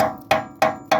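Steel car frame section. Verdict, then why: Solid. Three sharp taps on the back side of a steel car frame, at the section planned for welding, give short, bright metallic knocks with a pitched ring around 640 Hz that dies within about a tenth of a second. The frame sounds like solid metal rather than rotted through, and the section could also be plated.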